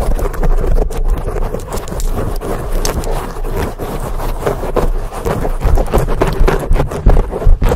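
Long painted acrylic nails on both hands scratch fast and hard at a large black foam windscreen on a microphone, held wrapped between the hands. The result is a loud, continuous, muffled scratching dominated by deep rumble, with rapid crackly bursts that swell louder toward the end.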